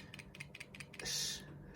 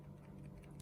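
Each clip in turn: First: replica earbud case with loose earbuds rattling. Second: genuine earbud case, earbuds held tight with no rattle.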